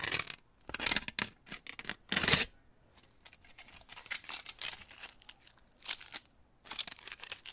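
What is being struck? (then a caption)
Crumpled aluminum foil pieces. Two small crumpled pieces of aluminum foil, one held in each hand close to the microphone, are crinkled and squeezed by fingertips. Bright, crackling crinkles come in irregular bursts separated by short quiet gaps, with the loudest squeeze about two seconds in.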